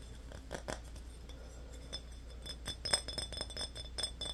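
A small, empty glass Yoo-hoo bottle is held sideways in both hands while fingernails tap quickly on the glass. The taps make a quick, irregular series of bright, high clinks that die away almost at once, over a steady low hum.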